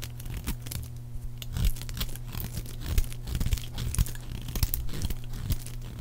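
A metal blade carves a solid, palm-sized, oval bar of dry yellow soap into thick, crisp flakes. Dense, dry scraping and cutting crackles come in quick bursts over a steady low hum.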